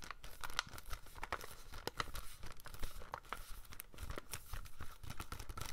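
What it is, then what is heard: Plastic DVD case. A hollow plastic DVD case from the Friday collection, with a sleeve, is held in both hands while fingernails tap and scratch its front cover. Dense, quick clicking taps mix with crinkling and scratchy rustles, each tap dying away almost at once. The sound stays low and close, with a faint recurring tone near 1.4 kHz.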